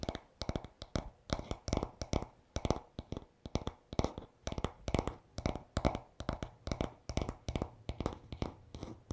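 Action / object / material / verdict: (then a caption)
tap / wooden back of a paddle hairbrush / wood / none. Fingertips tap rapidly and short nails scratch the smooth, solid wooden back of a paddle hairbrush lying on a towel. The result is clusters of quick, dry knocks with a soft low body and very short ring, mixed with faint bright scratching between bursts.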